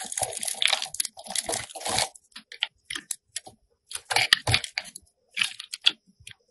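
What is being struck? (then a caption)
Bar of soap cut with a metal blade. A metal box cutter blade scores and shaves a solid pink rectangular soap bar held in the hand. Dry, crisp crunching and scraping bursts come in quick runs separated by short silences, bright and airy with little low end. Each cut stops dead with no ring.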